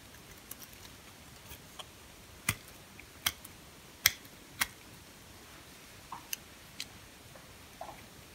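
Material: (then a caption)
Soap. A red-handled utility-knife blade scrapes and cuts thin pieces from a small, solid, pink, translucent bar of hard soap held in the fingers. Six crisp, bright snaps with almost no ring stand out, spaced irregularly over a low background hiss with faint scratchy ticks between them.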